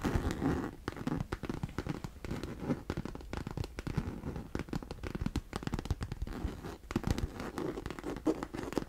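Long nails scratch and rub the fabric sides of a hollow, medium pink fabric cosmetic vanity case held in both hands. The result is a steady run of dense, crinkly scratching and rubbing with a dull, low-heavy tone and little brightness.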